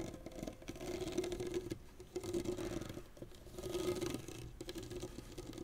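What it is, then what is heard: Synthetic tennis racket strings being scratched. Fingernails scratch across the synthetic strings of a tennis racket lying flat, making a soft, fast scratchy patter with a faint hum near 350 Hz, and then both hands are laid flat on the string bed.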